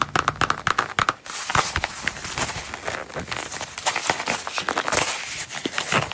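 A small, closed Coach wallet in dark brown coated canvas with a red star print is held in the hands and tapped and scratched with long, pointed, pearly nails. A quick run of sharp, dry taps opens the clip, then gives way to a steady, bright crinkling scratch with scattered clicks.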